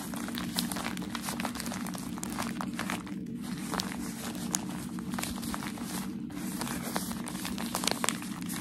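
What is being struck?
Tissue paper.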